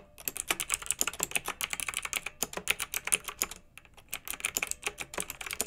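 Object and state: Plastic mechanical keyboard being typed on.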